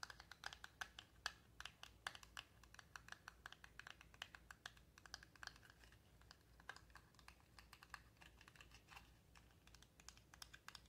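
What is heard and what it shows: A tiny, palm-sized yellow cardboard toy box with a SpongeBob print, hollow and apparently empty, is held in the fingers and tapped rapidly with long acrylic nails. Dozens of quick, dry, clicky taps land in an uneven, typing-like rhythm, bright with a papery knock around 1.7 kHz and very little low end. Each tap stops almost instantly with no ring.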